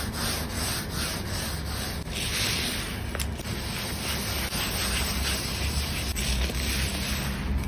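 A hand scrubs a large, solid wooden table top with visible grain, wet with soap, using a grey scrub sponge in circular strokes. The result is a steady, continuous rubbing and scratching sound, with a low rumble underneath and a bright, hissy texture on top that swells and fades slightly with each stroke.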